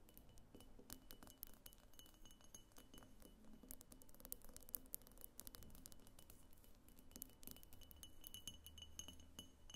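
Long fingernails tap rapidly across a medium, hollow pink glass diffuser vase, striking both its pink body and its thick clear glass base. The result is a dense, quiet stream of short, bright glassy clicks and clinks that die away almost instantly, over a steady low background rumble.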